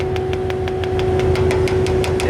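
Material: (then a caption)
Steel. A metal tanker compartment that still holds liquid is tapped repeatedly in an even rhythm while it is being emptied. The taps give short, dull knocks over a steady engine rumble and a constant mid-pitched hum. The sound shows the compartment is still full up to a certain level.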